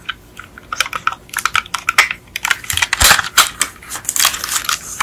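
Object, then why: Plastic underside of a toy car. Long acrylic nails tap and scratch the black plastic chassis, with its metal parts, of a die-cast Beetle model car held upside down. Rapid, irregular, dry clicks and scraping ticks come in quick clusters. The sound is bright and thin with almost no low end, and each tap dies away almost at once.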